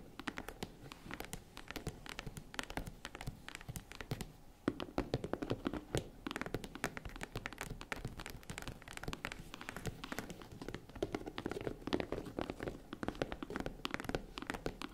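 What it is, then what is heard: Faux leather jewelry case tapped with fingernails. Long red nails tap rapidly on the side panels of a small, hollow, tan faux-leather zippered jewelry case held from both sides. The result is a dense, steady stream of short, dull, hollow taps with a low-mid body and almost no ring. The tapping eases briefly just before the five-second mark, then picks up slightly louder for the rest of the clip.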